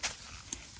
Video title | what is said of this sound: แก้ไขทุเรียนไม่โต แก้ไม่ยากแต่ต้องใจเย็นๆ | เราเคาะดูนุ่มๆโอ้โหนี่เสียงนี้แท่งหมดเลยนะครับ